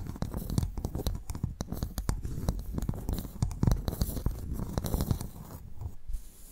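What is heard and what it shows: A pearl clam's shell is tapped and scratched before the clam is opened to extract its pearl. Rapid, dry taps and scraping clicks follow one another with no ringing, the sound heavy in the low end with little high content. No voices are heard.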